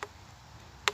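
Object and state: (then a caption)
Dense watermelon on the vine. A watermelon still growing on the vine in a greenhouse is flicked twice to judge its density, giving two short, sharp, bright ticks with a faint low thud near 410 Hz and almost no ring. The fruit sounds very dense, but it is not yet mature enough to harvest.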